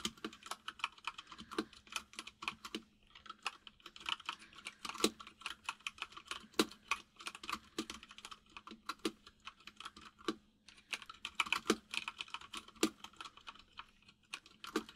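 Fingertips of both hands type on a full-size mechanical keyboard with white and grey plastic keycaps and a hollow case, producing a steady run of rapid, bright, clacky key taps. Each tap is sharp and dies away almost instantly, with brief pauses between bursts of typing over a faint steady low hum.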